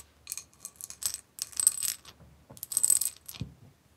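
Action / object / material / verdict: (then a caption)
tap / etched glass bowl / glass / none. Long nails tap and scratch a medium-sized, empty, clear etched glass bowl held in the hands. Quiet, bright, glassy clicks and scrapes with a thin high ring come in short bursts separated by brief pauses, each dying away almost at once.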